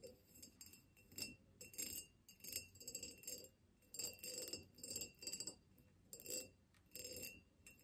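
Long fingernails of both hands tap a tall, hollow, ribbed clear glass vase standing on a table. They make quick bursts of bright, high clicking clinks with a short glassy ring. Brief quiet gaps separate the bursts, and there is almost no low-end body.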